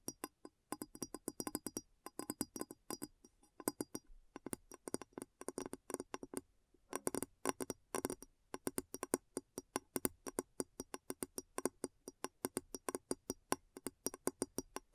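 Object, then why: Upturned glass bowl. Long natural nails and fingertips tap rapidly around the base and sides of a large, clear, hollow, empty glass bowl turned upside down over a recorder. The result is a fast, steady stream of dozens of crisp, short clicks and clinks, with a mid tone near 262 Hz and bright upper edges. Each tap dies away almost instantly, with only brief pauses between bursts.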